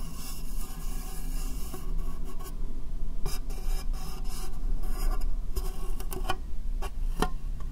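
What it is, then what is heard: Clear plastic box. Long nails tap and scratch the top and sides of an empty, hollow, rectangular clear plastic case. A steady, low-heavy rasping scrape runs throughout, broken by short, sharp taps that ring briefly.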